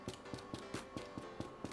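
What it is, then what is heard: Baked-through baguette, hollow. Freshly baked homemade baguettes, just out of the oven and golden brown on top, are tapped on the bottom eight times in a steady rhythm with music in the background. Each tap gives a short, hollow knock with a brief ring, showing the baguettes are baked through and done.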